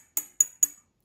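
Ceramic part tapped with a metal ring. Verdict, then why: Sound. A ceramic vessel part, the first of two, is tapped at different spots around it with a metal wedding band, giving four separate bright, high-pitched clinks with a sustained ring. Each tap sounds the same at every spot, marking the part as intact with no crack, a reference for comparison.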